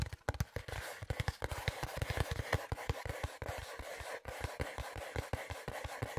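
A small, hollow brown cardboard box held in both hands is scratched and rubbed with nails and fingertips. Quick, closely spaced taps and scrapes give low, hollow thumps under a crisp, bright scratching texture. The sounds are short and dry, with almost no ring.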